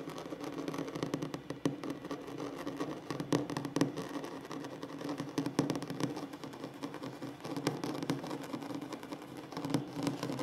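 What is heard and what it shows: Short nails and fingertips of both hands tap and scratch fast across a solid, flat wooden tabletop. The sound is a dense, continuous patter of soft clicks and scrapes with a warm low-mid body and brief, dry decay, occasional sharper taps poking out.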